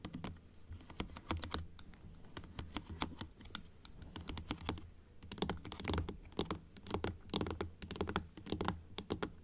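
Long acrylic nails tap on the plastic teeth and blue palate of a large plastic dental model opened to show its rows of teeth. The result is rapid, uneven bursts of short, dry, bright clicks over a steady low hum.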